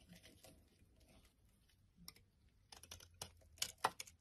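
A utility knife blade shaves the surface of a solid bright yellow bar of soap held in the hand, peeling it into flakes. Faint, soft scraping gives way to a series of crisp, bright cutting crackles that grow louder toward the end, each stopping short with no ring.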